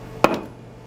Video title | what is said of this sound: Jade of the Maya | a dull piece of ordinary rock sounds like this. A dull thud,